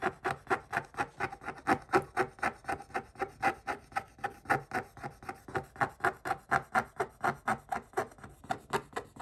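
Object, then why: Scratch-art paper page scratched with a wooden stick. A wooden stick scratches repeatedly across the coating of a scratch-art paper book page, a thin flat sheet on a backing in a spiral notebook. About 36 short, dry rasping strokes come at a steady, slightly uneven pace of roughly two per second. Each stroke is a brief papery scrape centered in the midrange with little low end.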